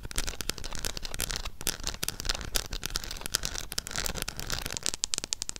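Long nails tap and scratch the front and back of a small, closed Harry Potter eyeshadow palette with a red printed cardboard cover. Rapid, dry, bright clicks and crackly scratches follow one another with almost no ring, over a low, steady rumble.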